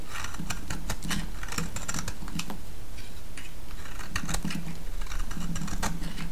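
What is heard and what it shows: A solid yellow soap bar, held in the hand, is shaved with a metal blade. Quick, crisp, bright scraping ticks come in rapid bursts over a steady low hum, pausing briefly around the middle before picking up again.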